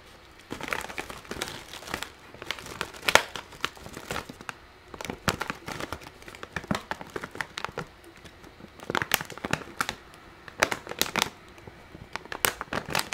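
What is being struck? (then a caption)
Metallized plastic crisp bag. A large, printed, metallized-plastic Keogh's Irish potato chip bag, hollow and partly full, is held and squeezed in one hand while it is rotated, and the fingers crumple and crinkle the film. Bursts of sharp, bright crackling come in uneven clusters with brief quiet gaps between them. Each crinkle stops almost instantly, with little low end.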